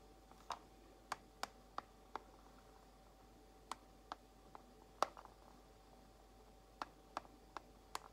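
Long nails slowly tap the edges and compartments of a clear plastic organizer box holding false nail tips. Thirteen short, bright plastic clicks are spaced irregularly, with a sharp resonance near 1.1 kHz and almost no ring. A faint steady tone sits underneath a quiet background.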